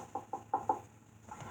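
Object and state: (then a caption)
Hollow plasterboard ceiling between joists. Knuckle knocks on a plasterboard ceiling, used to find the joists. Four short, hollow-sounding knocks ring out with a mid-pitched tone around 840 Hz, followed by faint softer tapping. The hollow sound marks the ceiling between joists.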